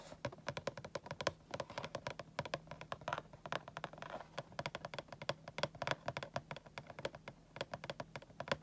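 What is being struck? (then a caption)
Cardboard toy box with clear plastic window. Fingertips and nails tap rapidly on the clear plastic front window of a boxed Sailor Chibi Moon Funko Pop, a hollow cardboard box with a vinyl figure inside. The taps are quick, dry, clicky and die away almost at once, with a faint steady low hum underneath.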